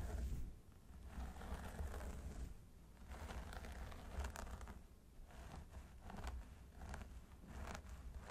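Curled fingertips and nails of both hands scratch the scalp of a mannequin training head through its long blonde synthetic hair. It produces soft, crinkly scratching and rustling in repeated swells, over a steady low rumble.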